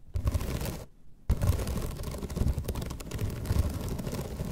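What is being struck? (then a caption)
Bamboo slat placemat. Long red nails scratch across the slats of a flat bamboo placemat, giving a dense, rumbling, low-heavy scraping texture. The scratching pauses briefly near the one-second mark, then resumes steadily to the end.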